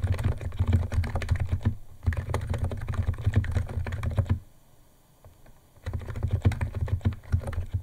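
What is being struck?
Plastic keyboard with plastic keycaps.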